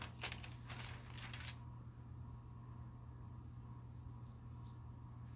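A hand rests on a thin glossy paper store catalog lying open on a carpet, then the fingertips lift and turn the page. Bright, crisp papery rustles fill the first second and a half. They then give way to a steady low hum with faint soft crinkles.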